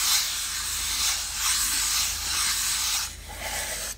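Long manicured nails scratch and rub the surface of a small, light, hollow plywood treasure-chest box with a brass clasp, held closed in the hand. A steady, bright, hiss-like scraping runs for about three seconds, then drops to a softer, thinner rubbing before cutting off.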